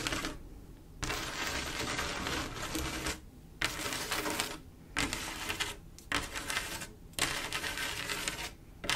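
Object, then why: Mirror-glass mosaic tile panel. Long acrylic nails tap and trace across a flat panel of silver mirror-glass mosaic tiles with grout, making a rapid, bright, crisp clatter mixed with scratchy scraping. The sound comes in dense bursts separated by brief quieter pauses, with little low end.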